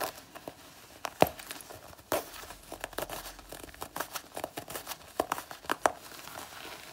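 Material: Faux leather.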